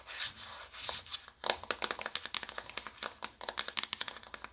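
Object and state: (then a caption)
Cardboard makeup box. Long acrylic nails tap fast on a small, flat, hollow cardboard makeup palette box held upright. A soft rubbing, scratchy sound opens the clip, then gives way to a quick run of crisp, bright clicks with almost no low end and very short ring.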